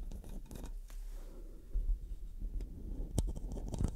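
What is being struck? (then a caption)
Metal microphone mesh grille. Long dark nails rub and scratch the metal mesh head of a black studio microphone. The result is a low, boomy rumble with dry scratchy texture, broken by sharper scraping bursts that flash up bright and loud.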